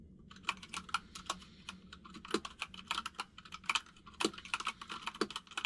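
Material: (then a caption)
Plastic. A white full-size mechanical keyboard with plastic keycaps rests on a desk while both hands type rapid fingertip taps on the keys. Bright, short clicks come in quick, uneven bursts over a faint low hum, with a few heavier keystrokes standing out.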